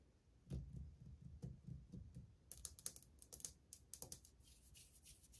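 Long painted fingernails tap on old glazed white ceramic subway tiles on a solid wall, with the hand lifting between taps. Soft, dull low knocks come first, then from about halfway through the taps turn into sharp, bright clicks that die away almost instantly. The taps fall in an irregular rhythm.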